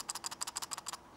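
A plastic Transformers robot head is shaken, and its loose red plastic eye piece, smaller than the gap around the eyes, rattles inside. Six short, bright, dry clicks come in quick succession with almost no low end, and each one dies away instantly. The loose part marks the head as faulty.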